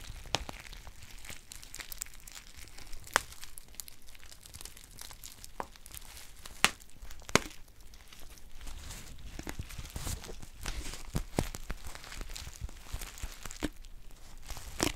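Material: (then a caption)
Metallic foil. A green metallic foil tea pouch with a paper label is crinkled and scratched with long nails. It makes a steady, soft crinkling rustle full of bright, crisp crackles and clicks, with a few sharper snaps standing out. There is a low, dull undertone beneath.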